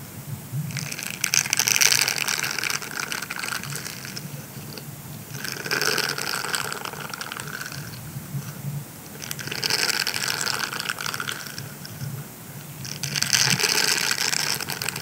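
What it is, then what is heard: Silicone scrubber squeezed and rubbed. A rolled grey silicone scrubber sponge is squeezed and twisted by both hands while fingertips rub its bristles. It makes four bursts of bright, crinkly rubbing and scraping that swell and fade over a faint low hum.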